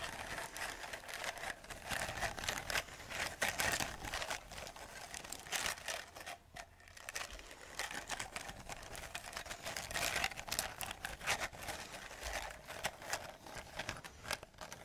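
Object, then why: Lightweight plastic chain. A hollow, lightweight grey plastic Halloween chain with large links is handled, shaken and tapped with long nails, so the links clack together. The sound is a dense, continuous run of quick, dry, bright plastic clicks and rattles with almost no ring, centred in the mids around 770 Hz. The activity dips briefly quieter near the middle before picking up again.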